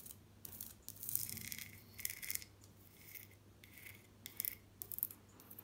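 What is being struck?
Glazed ceramic mosaic wall tiles.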